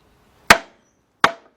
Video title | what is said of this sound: ⭐ 2002 Dodge Stratus - 2.4 - Timing Belt - Water pump - Part 3 | You hear that like a dull sound now? That's how you know you're all the way back.